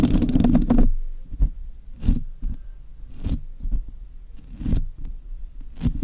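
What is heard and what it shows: Long acrylic nails tap and scratch the bare black metal mesh grille of a large USB microphone, a hollow, roughly hand-sized grille. A dense burst of scratching opens the clip, then comes an irregular series of separate taps. Each tap gives a deep, boomy thud with a short bright crackle on top and dies away quickly.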